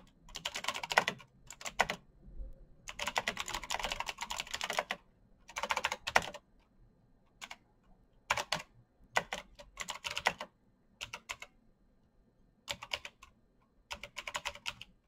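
Bare fingertips type quickly across a full-size black plastic mechanical keyboard with clicky green switches and RGB backlight, its hollow case resting on a desk mat. Bursts of rapid, bright, clacky keystrokes with little low end and almost no ring are separated by brief pauses.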